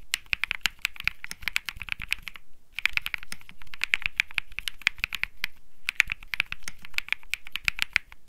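Fingertips type continuously on a cream Think 6.5 mechanical keyboard with plastic keycaps and Bsun Lollipop switches. The result is a rapid stream of crisp, dry clacks centered around 2.5 kHz with a soft low thump beneath, broken by two brief pauses.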